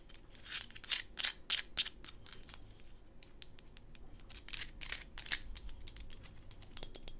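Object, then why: Small solid PVC plastic toy figurine. A small, solid PVC plastic Smurf toy figurine is held in the hands and tapped and scratched with long pink acrylic nails. Quick, bright clicks and short scratchy strokes come at an irregular, fairly rapid pace, with a few louder taps early on. Each sound is dry and stops at once, with little low-end body.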